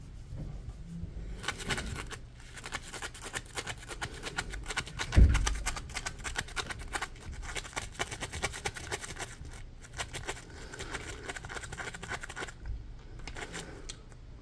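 A yellow, hand-sized, textured polymer foam Scrub Daddy sponge is held in both hands while fingernails scratch its ridged edge. Dense, rapid scratching fills the clip with crisp, bright detail over a soft low rumble, with one louder thump near the middle.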